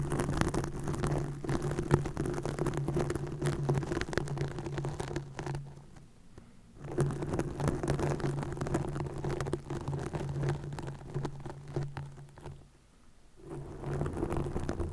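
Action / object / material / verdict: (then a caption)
scrape / plastic mesh net over a microphone / plastic / none. A green plastic mesh net stretched over a microphone head is scratched rapidly by long fingernails. The result is a dense, crackly scratching texture with a steady low hum around 145 Hz. It drops to near silence twice, around 6 and 13 seconds, before resuming.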